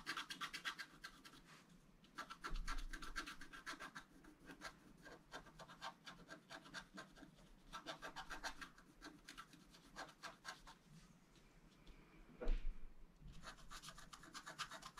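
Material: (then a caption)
Coated paper. A wooden stylus scratches across the right side of the design on a flat black-coated scratch-art card, producing bursts of dry, bright, raspy strokes separated by short quiet pauses. Two louder, low bumps stand out, one near the start and one near the end, amid otherwise soft, steady scratching.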